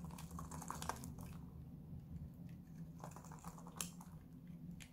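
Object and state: Dry bar soap.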